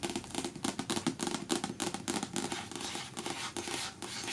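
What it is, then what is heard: Paperback book. Long natural nails tap and scratch fast on the card cover of the paperback novel "In the Woods," which lies flat and closed on a patterned cloth. Quick, irregular, crisp taps blend with dry scratching across the cover, with no ringing after each tap.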